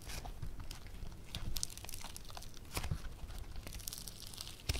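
Yellow foam clay (floam) with tiny foam beads, a solid, soft material, is stretched into a thin sheet and torn apart by the fingertips of both hands. Quiet, dense crackling and tearing sounds pop and crunch throughout, with short bright snaps over a soft low rumble.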